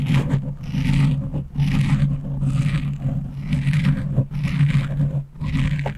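A black foam windscreen on a microphone is scratched slowly with the long nails of both hands. The sound comes as a series of dense, rough scratching strokes, each with a strong low rumble and a faint hiss. Brief gaps separate the strokes.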